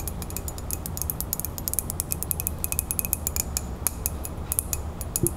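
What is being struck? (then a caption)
Ceramic coffee mug. A ceramic coffee mug with a woodland print is held in both hands while long fingernails tap quickly on its side. The taps make a rapid series of short, bright clinks over a low, steady background rumble.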